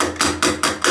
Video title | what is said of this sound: WE BAGGED HIS BRAND NEW M4! (WHEEL REVEAL?!?) | it sounds like plastic because you have the center cap but I mean it's metal